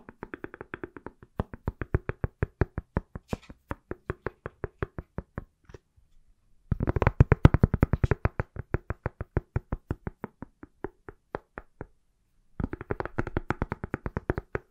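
An iPhone inside a pale silicone or plastic case, palm-sized and solid, is tapped with fingertips and nails. Rapid runs of short, dry, low-heavy taps die away almost instantly. The runs break off briefly near six and twelve seconds, then restart as dense flurries.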